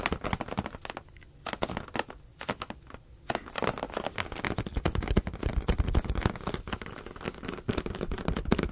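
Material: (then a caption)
Latex. A medium teal latex balloon, hollow and air-filled, is held in both hands and rapidly tapped with the fingertips. The taps come as dense, quick, dull thuds with a soft crinkly edge, mostly low in tone. The tapping eases to a quieter stretch of lighter touches before picking back up into a steady, busy patter.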